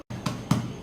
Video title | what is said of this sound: HOW TO MAKE A WHOLE WHEAT BREAD#EGGLESS#NO MACHINE REQUIRED | It will give you a hollow sound.